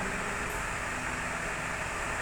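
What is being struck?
Nothing is struck.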